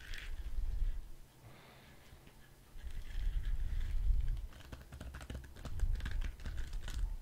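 A hand-sized, orange soft rubber spiky squishy ball with a loop on top is tapped and scratched with fingertips and nails close to the mic. Low, muffled thumps and rubbery rustling dominate, with a brief quiet pause, followed by quick, irregular bright scratchy clicks.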